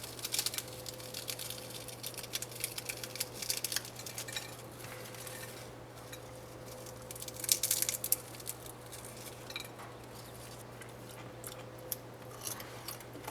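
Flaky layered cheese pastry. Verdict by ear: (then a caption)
Crispy. A freshly baked, cooled, flaky cheese-filled layered pastry is cut on a plate. The cutting gives bright, crackling crunches, with clinks of cutlery against the plate and a faint steady low hum underneath. The crackle shows the pastry is crispy, and it is judged an amazing pastry.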